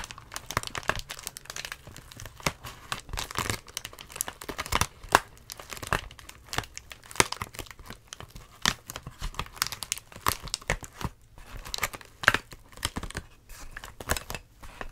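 Clear inflated plastic air-column packaging is held in both hands and squeezed and crinkled with the fingers. Dense, bright crackling and crinkling plays throughout in rapid, overlapping bursts, with occasional sharper crunches standing out.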